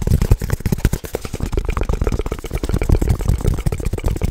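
Fingertips and nails rapidly tap and scratch a flat rectangular wooden object held in both hands, likely the closed wooden cover of a book lamp. The result is a fast, continuous stream of dull, low, knocking thuds with quick scratchy strokes and very little ring.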